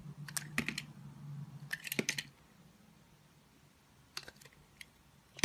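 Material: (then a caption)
Soap. A box cutter blade shaves and carves thin curls off the surface of a solid, oval, palm-sized pink bar of soap held in one hand. Short, crisp, bright scraping clicks come in quick clusters over a low hum during the first two seconds. A quieter stretch follows, then a few more sharp cuts, the last one loudest.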